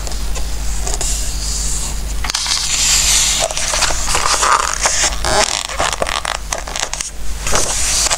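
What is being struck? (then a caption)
Coated paper book pages. Fingertips stroke and rub the coated pages of an open glossy-paper Christmas book resting on a wooden table, then turn a page. A continuous bright, papery rustle and scraping swishes along with light crackles. A low steady hum runs underneath throughout.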